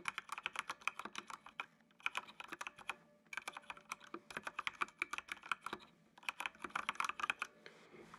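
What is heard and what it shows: Fingertips type on the keys of a full-size black plastic mechanical computer keyboard with RGB backlight. Three quick bursts of crisp, bright clicks are separated by brief pauses. Each click dies away almost instantly, with no low-end thump.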